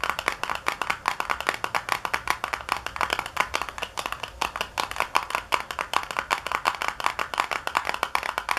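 Long nails tap fast on the back panel of a small, hollow white paperboard box resting on a counter. They make a rapid, steady stream of dry, papery clicks with a hollow knock centered around 1 kHz and bright edges. Each tap dies away almost instantly, with very little low end.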